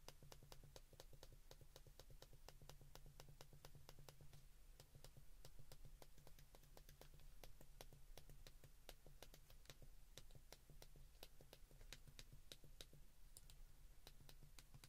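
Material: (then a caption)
Plastic. Fingertips click the keypad buttons of a white plastic flip phone in a quick, steady run of sharp, bright little clicks over a constant low hum. Each click is short and dry with almost no ring.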